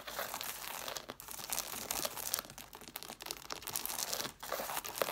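Long nails scratch and tap the page edges and covers of an angled stack of red cloth-bound hardcover books with solid paper. The result is a dense, bright, papery scratching and crinkling with quick light taps, running almost continuously with brief pauses near 1 and 4.4 seconds.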